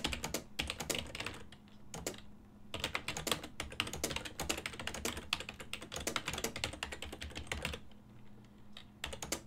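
Fingertips type rapidly on a full-size black and silver plastic desktop keyboard with a hollow housing, producing bursts of dense, bright, clacking key taps. Typing pauses briefly around the two-second mark and again near the end, leaving a faint steady low hum underneath.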